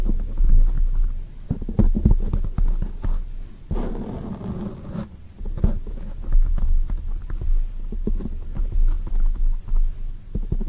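Long nails on both hands tap rapidly on a black oval foam microphone windscreen. The result is a dense run of soft, muffled low thumps with a throbbing, rumbling quality and almost no high end. Midway through there is a brief quieter stretch of a gentler rustling texture before the fast tapping resumes.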